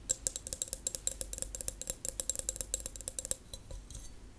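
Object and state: Empty drinking glass tapped with nails.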